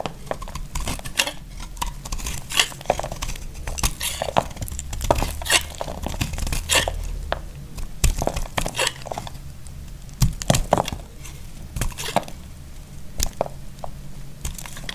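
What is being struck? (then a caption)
Bar of soap cut with a knife. A solid, dry purple bar of soap is held in the hand and carved with a utility knife while other soap bars lie untouched nearby. Dense, crisp crunching and scraping cuts come in quick, dry bursts, each with bright, crackly detail over a steady low hum.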